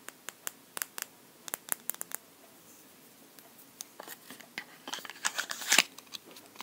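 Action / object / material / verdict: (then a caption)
tap / lip balm tube / unknown / none. A lip balm tube is tapped in a quick series of sharp, bright clicks that die away almost instantly, with nothing in the low end. The taps start sparse and evenly spaced, then grow denser and louder toward the end, mixed with faint scratchy handling sounds.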